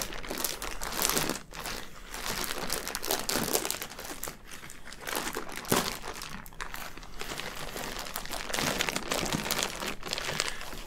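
Both hands grip and pull at a clear, thin plastic bag wrapping a soft orange item on a table, working it open. The thin plastic gives off continuous bright crinkling and crackling in dense bursts with brief lulls, and a sharper crunch around the middle.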